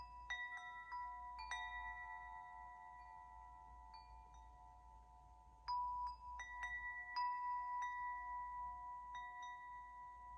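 A hand-held metal tube wind chime is struck and shaken by a free hand, knocking the hollow tubes against the clapper. Several bright, clear metallic chimes centered near 1 kHz ring out, each note sustaining and overlapping with the next for about three seconds.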